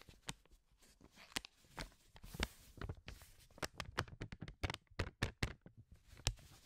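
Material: Paper.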